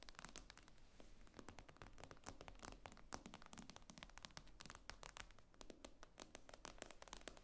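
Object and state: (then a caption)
Glass tablet screen tapped with nails. Long acrylic nail tips tap rapidly on the glossy glass screen of a tablet lying flat on a table. The result is a quiet, dense stream of short, sharp, bright clicks that die away almost instantly, over a steady low hum.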